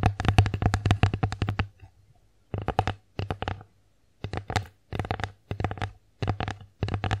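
Long acrylic nails tap and scratch the flat face of an empty wooden bear-face plate. Quick, dry clicking taps come in fast bursts, starting with a long run, then shorter clusters separated by brief silences. A low, steady hum sits under the taps.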